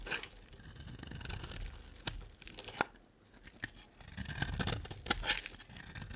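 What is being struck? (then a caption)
Bar of soap. A utility knife shaves a solid green striped bar of soap, with green flakes piling up. Dry scraping and crisp, brittle crackles come in uneven bursts, with sharp, bright snaps standing out and a brief quieter pause midway.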